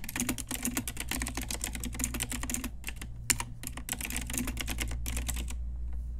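Continuous typing with long nails and fingertips on a pink Ajazz retro typewriter-style mechanical keyboard with round plastic keycaps. Rapid, bright plastic key clicks sit over a steady low hum, thin out briefly near the middle with one sharper louder click, then pick back up before stopping.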